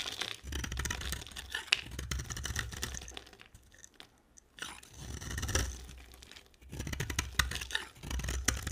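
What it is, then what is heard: Dry soap bar being shaved. A hand-sized, cream-coloured O'HERBAL dry soap bar is held in one hand while a utility knife blade shaves thin curls off its surface. Bursts of dry, crunchy scraping and cutting come in several runs with short quiet gaps, mixing a low thump with a bright crackle.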